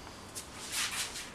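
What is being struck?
Nothing is struck.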